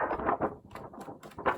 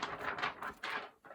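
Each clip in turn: First: stiff coloured card rather than paper. Second: thin sheet of paper, not card.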